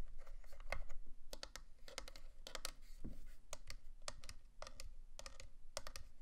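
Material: Plastic.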